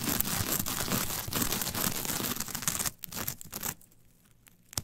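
Long nails scratch and rake the fibers of a flat, brown, coarse coir fiber mat toward its center. A dense, bright, crackly scraping with a tearing quality runs continuously for about three seconds, then turns into a few fainter strokes. It fades to near silence before one last sharp scratch at the end.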